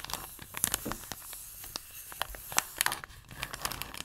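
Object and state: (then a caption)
Plastic picture tray. Fingertips and nails scratch and rub along the rim and surface of a round, plate-sized blue plastic tray holding a printed photo insert under a clear plastic cover. A quiet, bright, crinkly scraping is broken by many short, sharp clicks and ticks that stop at once, with little low end.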